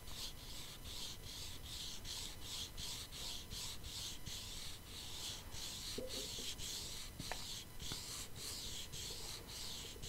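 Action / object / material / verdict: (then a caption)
scrape / flat cardboard palette box with foil surface / cardboard / none. Long painted nails scratch a flat, hollow cardboard makeup palette box with holographic foil, held beside the microphone. Steady, rhythmic strokes make bright, rasping scrapes over a soft low rumble, with a few sharp ticks near the end.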